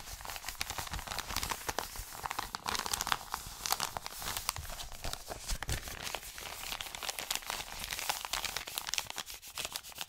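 An Amazon kraft-paper padded mailer is crinkled and rubbed flat with the fingers of both hands. It makes a steady stream of dry, papery crinkles and rustling with bright, sharp crackles. The crackles ride over a soft, continuous scratchy hiss with little low-end body.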